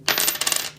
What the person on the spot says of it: here is a nickel with no silver